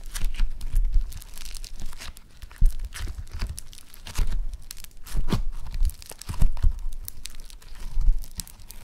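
Yellow foam-bead clay is stretched and torn apart by both hands, then rolled into a ball. Dense crackling, tearing and crunching bursts come in uneven waves over a low, muffled rumble.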